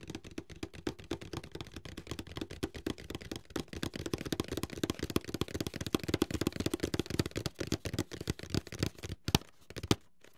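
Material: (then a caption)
Cardboard. A medium, closed, hollow white paperboard box is held upright in both hands while fingertips tap rapidly on its sides and edges. The result is a dense stream of quick, dry, hollow taps with a low, boxy thump and very little ring. The taps thin out near the end, leaving a few scattered final taps.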